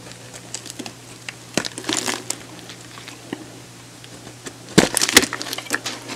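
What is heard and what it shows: A solid light-blue, hand-sized oval bar of soap is held in the hand and shaved and scored with a metal box-cutter blade, peeling off thin strips. Quiet scraping is broken by short, bright, crisp crackles and snaps, with a denser burst of sharp cuts near the end.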